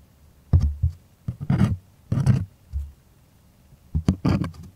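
Long fingernails scratch and tap the taut, hollow-backed surface of a white stretched primed cotton artist canvas held close. The result is soft, dull low thumps mixed with brief scratchy rustles that come in short bursts separated by quiet gaps.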